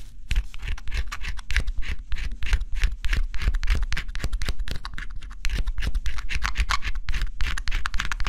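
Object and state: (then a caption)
Scratching coating off a cardboard puzzle. A small tool held in the fingers scratches the black scratch-off coating off a flat, assembled cardboard jigsaw puzzle with a forest and bear picture, in quick strokes. Rapid, dry scratching bursts run continuously, with a papery, bright rasp over a low, dull rumble.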